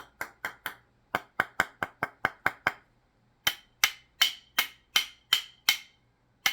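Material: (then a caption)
Soap. Two bars of Kirk's fragrance-free castile soap are tapped together 19 times: a run of 11 quick hits, a short pause, then 8 more. Each makes a sharp, dry, bright click that dies away almost at once. Unlike most soap, which is soft and squishy, these bars are hard and rocky, and they sound like two pieces of clay clapped together.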